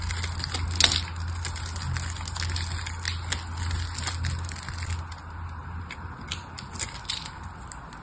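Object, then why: Soap bar. A knife scrapes and cuts chips off the surface of a hand-sized solid red soap bar with silver-coated remnants, held in the fingers. Dry, crisp crackling and scraping strokes come at an irregular pace, bright and crunchy, over a steady low hum that fades after about five seconds.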